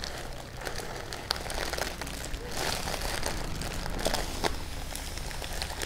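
Fingertips and long painted nails scratch and tap across a medium flat cardboard gift box wrapped in purple tissue paper with a small sticker seal, lying closed and hollow on a table. The paper crinkles and crackles continuously, with sharp brief taps standing out over a steady low rumble.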